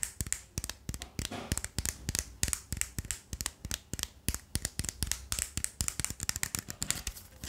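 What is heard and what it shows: Fingertips rapidly twist the layers of a small 3x3 plastic speed cube with a black carbon-fibre body and colored stickers, held close to the microphone. Dozens of quick, sharp plastic clicks and scrapes come in a steady stream, each bright and short with a faint low thump underneath.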